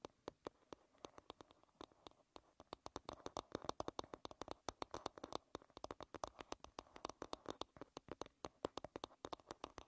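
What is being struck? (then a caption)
Wooden hairbrush back. Long red-painted nails tap and scratch the smooth, solid wooden back of an oval wooden paddle hairbrush lying bristles down. A quiet, rapid run of dry, crisp clicks with very short ring, centered around 1 kHz with a bright edge, is heard between faint scratching.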